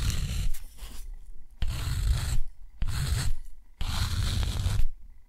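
A steel dip pen nib scratches four long parallel strokes across rough, thick, textured cotton paper. Each stroke is a gritty, rasping scrape with a low rumble and a bright hiss, separated by short quiet pauses.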